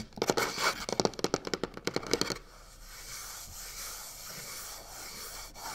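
A hand and fingertips rub quickly across the side panel of a hollow box covered in black crocodile-texture faux leather. Twelve short, bright rasping scrapes come in a fast run over the first two and a half seconds, with a mid tone around 460 Hz. After that, only a faint, steady hiss remains until the end.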